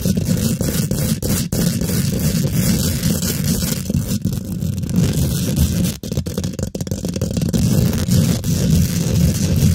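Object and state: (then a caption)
Metal mesh microphone grille being scratched. Long pointed pink glitter acrylic nails scratch fast and aggressively across a hollow steel wire-mesh microphone grille. The result is a dense, continuous, boomy rasping, heavy in the low end with a faint bright hiss on top. It dips briefly around the six-second mark before resuming.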